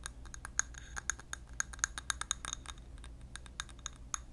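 A large clear glass candle jar filled with orange-yellow wax is held in the hand near the mic while fingernails tap and scratch across its glass. Quick, irregular bright clicks and light ticks come at about two per second, some with a short glassy ping, over a soft scratching texture and a low steady hum.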